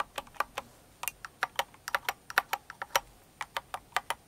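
Long nails type on the plastic keycaps of a full-size mechanical keyboard decorated in a Cinnamoroll theme. About twenty sharp, bright clicks arrive in an irregular rhythm, each dying away almost instantly into quiet.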